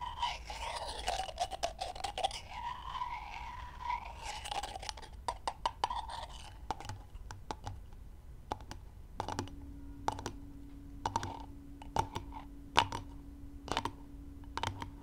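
Two raw brown chicken eggs are knocked together until a small crack appears in one shell, while long nails tap and scratch across the eggshells. Sharp, dry clicks and light scratches come in uneven bursts throughout, with a wavering mid-pitched tone early on and a faint steady low hum in the second half.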